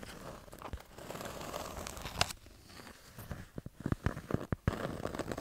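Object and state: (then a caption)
Kraft cardboard notepad. Long nails scratch and tap on the cover and page edges of a small kraft-cardboard "Les p'tites notes" notepad with colourful paper pages. A steady, crinkly scratching rustle fills the first half, with one sharp click near the middle. It then gives way to a run of crisp, short taps with quieter scratching between them.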